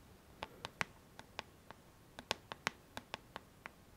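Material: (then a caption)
Plastic. Long nails tap and scratch the hollow plastic back of a pink paddle hairbrush lying face down. Fifteen quiet, sharp, dry clicks land at an uneven pace, bright with almost no ring, over a faint hiss.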